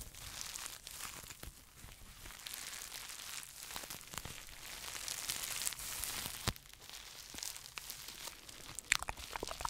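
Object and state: Plastic bubble wrap pouch.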